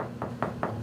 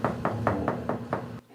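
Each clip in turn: First: hollow cracked wall tile. Second: solidly bonded wall tile.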